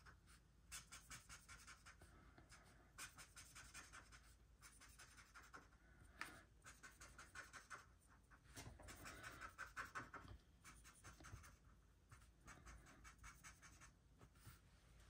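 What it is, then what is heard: Felt-tip marker colouring on paper. A pink felt-tip marker tip is rubbed and stroked over a flat white paper mandala colouring page while the other hand rests flat on the sheet. Quiet, dry, scratchy strokes repeat in quick, uneven runs with a bright, papery hiss. The strokes swell slightly louder in the middle before settling back to a soft, steady scratching.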